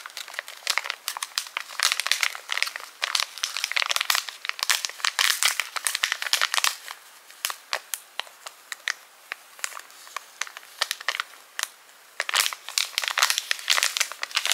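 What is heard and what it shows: A small white and clear flexible plastic resealable zip pouch, held in both hands, is crinkled and scratched with long pink acrylic nails. Dense, bright crinkling and sharp scratchy clicks come in bursts with brief quieter gaps, almost all high-frequency, with no low end.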